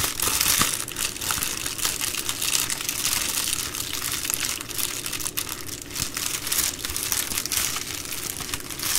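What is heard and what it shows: A plastic bubble mailer envelope is held and crumpled in both hands, then folded on a table, with fingers crinkling and squeezing the bubbled plastic. The result is a steady, bright, dense crinkling and crackling for the whole clip, with little low end.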